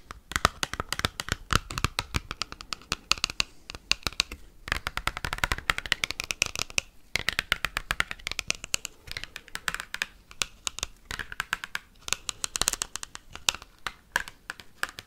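Fingertips fitted with paperclips scratch and tap fast across an oversized glossy cardboard Pokemon trading card while the card is flexed. A dense stream of sharp, bright clicks and dry scratches comes with sweeping, rustling tones from the bending cardboard, centered in the upper mids. The sound pauses briefly near 4.5 and 7 seconds.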